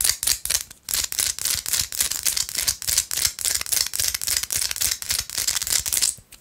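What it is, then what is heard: Pink rock salt chunk, scratched and tapped. Long light-blue acrylic nails tap and scratch a small, palm-sized solid piece of pink Himalayan rock salt held between the fingers. The result is a rapid, uneven run of dry, bright scraping and clicking bursts with almost no low end and no ring. There are brief pauses near the start and just before the end.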